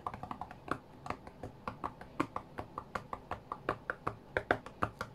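Fingertips tap the glass touchscreen of an iPad lying flat on a cutting mat, producing 28 quick, dry taps in an uneven rhythm. Each tap is a short, muted click centred around 700 Hz that dies away almost instantly, with only a little bright edge.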